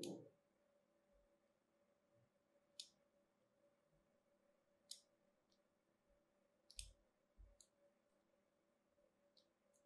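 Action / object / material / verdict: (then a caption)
scrape / bar of soap carved with a small knife / soap / none. A small metal knife blade, held by a hand with long manicured nails, scrapes and cuts thin grooves into a small, solid, cream-coloured bar of soap with a carved ridged surface, held in one hand. Seven short, bright, crisp clicks stand out against a quiet, steady low hum, each dying away almost instantly.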